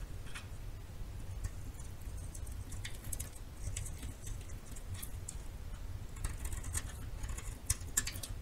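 A metal knife scrapes and carves a solid yellow bar of soap held in the hand. Crisp, bright scraping ticks and short shaving crackles come in uneven bursts over a steady low rumble.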